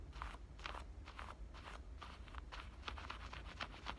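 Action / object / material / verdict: scrape / denim shorts pocket / denim / none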